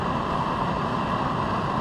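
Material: Nothing is struck.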